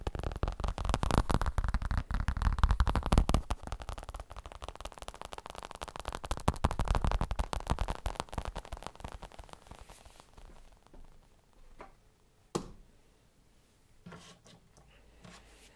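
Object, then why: Fabric elbow support. A fabric elbow support is tapped rapidly with fingers, giving a dense run of soft, dull, low thumps and scratchy fabric crackle for about ten seconds. The tapping then thins out to a few scattered taps, with one sharper, louder tap near the end.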